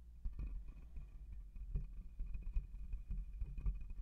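Fingertips and nails of both hands scratch and rub the hollow metal mesh grille of a black USB condenser microphone. The result is a close, muffled run of irregular scratchy rustles and soft bumps, heavy in low rumble, with a faint thin high tone lingering underneath.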